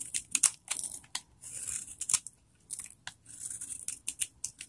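A metal knife blade shaves and carves flakes off the surface of a palm-sized solid bar of old, dried vintage soap held in one hand. Quick, crisp scraping and cutting strokes come in a rapid, uneven series of short bursts, bright and high with almost no low end, separated by brief quiet gaps.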